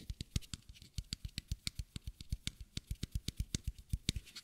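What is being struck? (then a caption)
Small plastic bottle. A small, matte white bottle with a square cap, plastic-looking and apparently empty, is held sideways and tapped and scratched with the fingertips and nails. About thirty quick, dry taps follow one another in an uneven patter. Each has a soft, low, hollow thump and a bright clicky edge, and dies away almost instantly.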